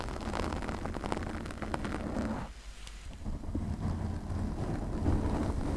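Long nails slowly scratch and rub a pink foam windscreen on a condenser microphone. The result is a dense, muffled rumbling rustle concentrated in the low end, with faint scratchy streaks above. The sound briefly eases in the middle before building back up.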